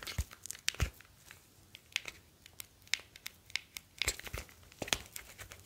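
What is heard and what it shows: A smartphone with a glass screen and metal back is held in both hands while fingertips rub and tap across the metal back and glass screen. Quick, crisp, bright taps and dry, crinkly scratching come in an uneven series, with a few soft low thumps underneath. Each tap dies away almost instantly.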